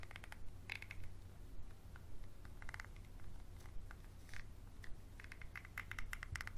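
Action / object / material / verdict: tap / small textured glass bottle tapped and scratched with a wooden pencil / glass / none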